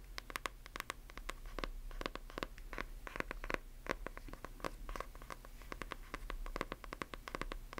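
Long nails tap and scratch the cover and spine of a closed, solid hardcover book with a glossy paper dust jacket. They make rapid, crisp clicks with bright edges, mixed with dry scratching strokes over a faint low hum. Each tap dies away almost instantly, and the tapping is quiet throughout.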